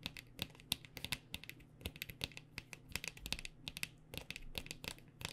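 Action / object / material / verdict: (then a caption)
tap / plastic lotion squeeze tube / plastic / none. Long nails tap rapidly and irregularly on a white plastic body butter squeeze tube with a pink cap, filled with lotion. Each tap is a short, bright, dry click that dies away almost instantly, over a faint steady low hum. The result is a quiet stream of crisp plastic ticks.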